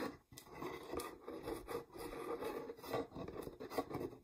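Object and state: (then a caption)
Plastic jar scratched with nails. Long nails scratch and rub the threaded rim and sides of a medium-sized, mostly empty clear plastic peanut jar with a red lid. The result is a quiet, continuous rasping scrape centered in the midrange, with strokes that swell and fade as the nails move back and forth.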